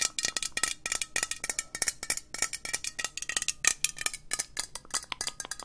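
Long nails tap fast on a hollow green metal aerosol spray can, giving a rapid run of around thirty bright, clicky metallic taps. Each tap is sharp and dies almost instantly, with little low end beneath the high, tinny ticking.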